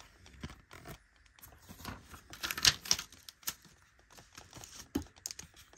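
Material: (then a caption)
Plastic. A cream-colored, flat, rectangular molded plastic eyeshadow palette with an embossed lace pattern on its edge has that edge rubbed and scratched with long nails. The result is a quiet run of dry, bright scratching and crisp ticking with sharp clicks and very little low end.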